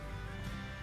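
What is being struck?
Nothing is struck.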